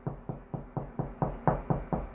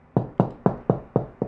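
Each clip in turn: First: Nine quick, low knocks on drywall, each a short dull thud that points to a solid stud behind. Second: Six even knuckle knocks on drywall, each a low, short boom that sounds hollow with no stud behind.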